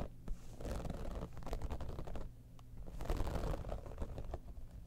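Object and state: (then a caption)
Vinyl cosmetic bag being scratched. Long nails scratch rapidly across the top of an iridescent, textured holographic vinyl zippered cosmetic pouch, producing dense, fast scratching with a low, rumbling body and crisp bursts of brighter texture. The strokes come in two longer flurries separated by a brief quieter pause.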